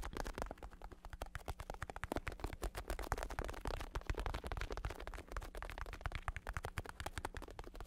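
Fingertips tap and scratch the vinyl cover of a black bicycle saddle with red trim, held up off any surface, its cover stretched over a plastic base. Rapid, dense, dry taps with a soft, low thump run continuously, mixed with a light scratchy rustle, and each tap dies away almost instantly.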